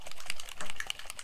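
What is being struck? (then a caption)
Plastic spray bottle with a mixing ball. A craft mica spray bottle with a mixing ball inside is shaken before spraying so the settled contents at the bottom get mixed. The ball rattles in a quick series of light clicks and knocks.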